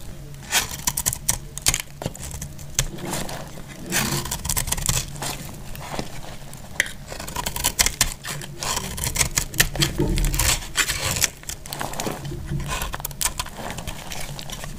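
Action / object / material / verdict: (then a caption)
scrape / bar of soap shaved with a blade / soap / none. A utility knife blade shaves crisp shreds off a solid, hand-sized bar of dried dark green soap held in the hand. Quick, dry scraping strokes give bright crackling bursts over a low background rumble, each stroke dying away almost instantly.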